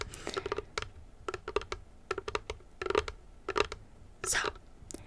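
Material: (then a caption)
Wood. A small wooden coffin-shaped tray from Shein is tapped in a quick series of light, dry taps with a hollow mid-range tone. The taps die away almost instantly, and a short, brighter scratch across the wood follows near the end.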